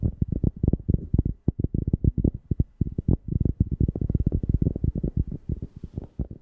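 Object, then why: Cork object. A cork object is tapped rapidly near a FIFINE K690 microphone, about 34 quick taps. Each one is a deep, bassy thump centered low around 90 Hz that dies away almost instantly, with no high content.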